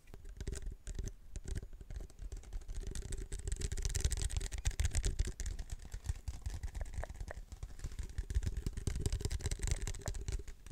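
A large hollow waxed-paper fast-food soda cup with a plastic lid and straw is held in both hands while fingertips and nails tap and scratch its sides. Rapid, dense tapping produces deep, hollow thuds layered with a faint bright scratching hiss, continuing steadily throughout the clip.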